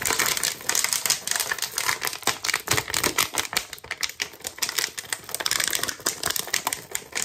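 A clear plastic water bottle with a blue cap and label, hollow and partly filled with water, is held in both hands and tapped and scratched quickly with fingertips and nails. The result is a dense stream of sharp, bright clicks and scratchy rasps that die away almost at once, with no low end.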